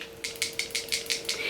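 A liquid foundation bottle is shaken to mix it before use, giving seven sharp, bright rattling clicks from something loose inside. A faint steady hum sits underneath.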